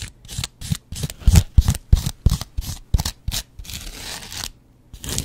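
A yellow foam kitchen sponge is scratched with a double-edge razor blade. Quick, uneven strokes give bright, dry scratching bursts, each with a soft low thump. A longer continuous scrape follows, then a brief silence before one more stroke.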